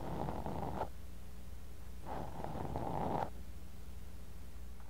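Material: Sand.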